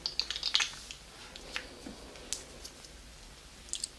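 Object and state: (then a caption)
Glass perfume bottle. Long mint-green acrylic nails tap and click on the clear faceted glass cap and then the body of a hand-sized, pink-tinted glass perfume bottle in the YSL Mon Paris style, partly filled with liquid and tied with a black ribbon bow at the neck, while the hands hold it. About ten bright, sharp clicks come in uneven clusters, each dying away almost at once over a faint low background.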